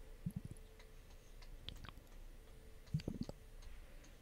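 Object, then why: Glass facial ice globe. Long nails tap and click on a clear, hollow glass facial ice globe with a pink liquid-filled ball and a long handle. Soft, short, low-pitched taps with almost no ring come in a quick cluster near the start and another toward the end, over a quiet background hiss.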